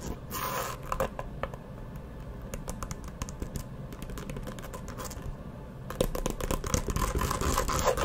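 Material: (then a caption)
Faux leather. A hollow map-print faux leather hard-shell eyeglasses case, held partly open close to the mic, is tapped and scratched with long nails. Rapid, uneven clicks and taps sit over a low, hollow body, with brief bright scratchy bursts at the start. The scratching grows louder and denser in the last couple of seconds.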